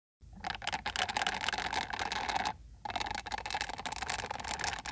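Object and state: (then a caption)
Silicone scalp massager brush. A hand-sized peach-orange silicone-bristle scalp massager brush is scratched by long acrylic nails across its dense bristles. The result is a fast, bright, clicky patter with a steady midrange tone. The patter pauses briefly partway through and then resumes.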